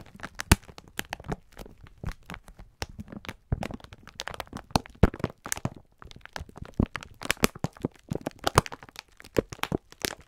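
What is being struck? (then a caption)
Sponge scourers in plastic film pack. A clear plastic-film pack of sponge scourers is held in both hands while fingertips squeeze and rub it. The film gives off a steady stream of sharp, crackling crinkles and crunches, each snapping bright and dying away almost instantly, over a soft low rustle. Short pauses separate bursts of dense crinkling.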